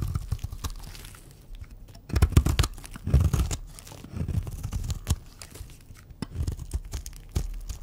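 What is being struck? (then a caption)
Bar of soap. A cream-colored rectangular bar of dry soap is held in the hand and cut and shaved into chunks with scissors and a utility knife blade. The sound is a run of dry, crumbly scraping, tearing and crunching cuts that come in uneven clusters, with most of the weight low in the body and faint bright edges. Each cut dies away quickly.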